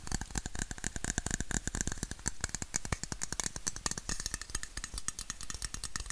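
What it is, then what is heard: Aluminium drinks bottle. A red, hollow aluminum Coca-Cola bottle, held sideways, is tapped rapidly with fingertips and nails along its body. Quick, uneven taps land in a steady stream, each a short, dry hit with a low hollow thump and a bright metallic click that stops almost at once.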